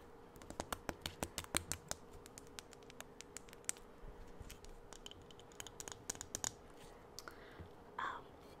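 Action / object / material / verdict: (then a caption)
tap / plastic jar filled with aroma beads / plastic / none. A filled plastic Jolly Rancher aroma beads jar is held up and tapped and scratched with long acrylic nails. Dozens of quick, sharp, bright clicks come in irregular clusters over a faint steady hum, with softer scratching in between. A brief rougher scratch near the end closes the clip.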